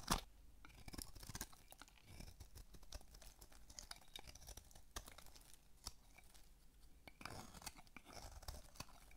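A small metal blade shaves thin curls from the face of a dry, solid, rounded rectangular pink bar of soap, about palm-sized and held in one hand. Quiet, crisp scraping and crunching strokes repeat throughout, with short dry clicks and bright, papery texture over a soft low rumble.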